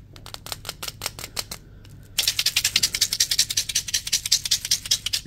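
A small translucent plastic jar with a purple label and white contents is held in the hand and tapped and shaken with the fingertips. Quiet, quick, crisp ticks come first, then a brief lull with a faint steady tone. After that comes a louder, denser run of bright, dry clicking rattles, about 26 short hits in all, each dying away almost at once.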